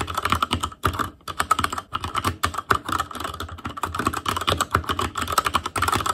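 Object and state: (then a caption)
Plastic mechanical keyboard. Fingertips of both hands type rapidly on a full-size ASUS ROG Claymore Core keyboard with plastic keycaps on Cherry MX Red switches, a metal plate, a hollow case and RGB backlight. A fast, continuous stream of short plastic clacks rings out, each key tap dying away almost instantly, with a steady tone around 1.3 kHz and a bright top.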